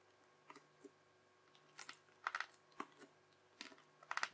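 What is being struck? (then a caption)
Crunchy bubbly slime pressed with a plastic knife. The edge of a yellow plastic knife, held with a fingertip, presses lines into a strip of teal, bubbly crunchy slime, chopping along it. About eight short, crisp crunches and crackles sound at an uneven pace, each a quick bright snap of popping bubbles. The taps die away almost at once against a quiet background hum.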